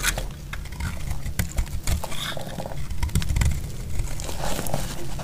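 A solid, dry orange soap bar held in the hand is carved with a metal utility blade, and brittle chunks break off. The clip is full of crunchy scraping and cracking cuts with a heavy low thump, plus occasional faint bright crackles as pieces snap away.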